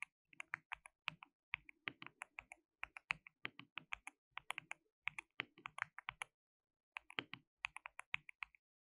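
Both hands type continuously with their fingertips on a compact white-cased mechanical keyboard with white and pink plastic keycaps, an RGB backlight and a hollow case. About 46 short, sharp, bright clacks come in rapid bursts, with a brief pause just after six seconds. Each keystroke dies away almost instantly, with very little low end.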